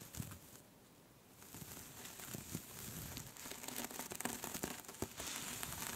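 Both hands with long pink nails scratch a soft pink cable-knit knitted scarf with fast nail movements. After a brief quiet start, the sound becomes a dense, bright, scratchy rustle with small crackly ticks that grows steadily louder and busier.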